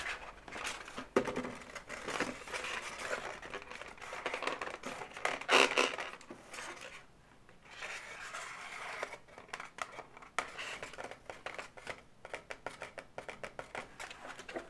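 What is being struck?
Inflated latex balloon animal.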